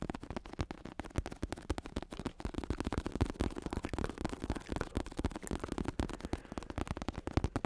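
Fingertips tap rapidly on the synthetic leather cover of a black padded bicycle saddle with red trim and a plastic shell underneath, held in the hands. The taps are a dense, steady stream of soft, dull, low thuds that stop almost instantly, with little brightness and no ringing.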